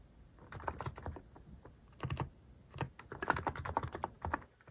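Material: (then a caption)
Plastic. Fingertips type on a plastic mechanical keyboard fitted with cat-shaped plastic keycaps. Quick bursts of short, dry keystrokes each pair a low thock with a brighter click, separated by brief pauses.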